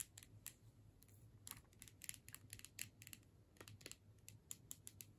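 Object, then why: Plastic tube with metal screw cap. Long nails tap the body of a filled plastic tube with a metal screw cap, held in the hands. An irregular run of quick, crisp, bright clicks dies away almost instantly, over a faint low hum.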